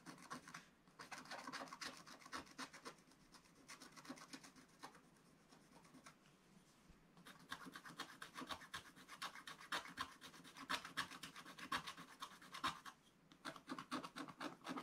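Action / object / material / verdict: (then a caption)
scrape / wax-coated scratch-art paper scratched with a wooden stylus / coated paper / none. A wooden stylus scratches the black coating of a scratch-art card page in a spiral book, working at the lower right of the page. Quick, dry, rasping strokes come about four per second in an uneven rhythm. They ease into a quieter stretch around the middle before returning denser and brighter toward the end.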